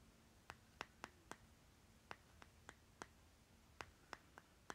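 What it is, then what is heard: Plastic lip balm jar. Short nails tap and scratch the stickered bottom of a small round plastic lip butter jar with a green plastic lid, held on its side. Twelve quiet, sharp, bright clicks land at uneven intervals, each dying away almost instantly, over a faint low hum.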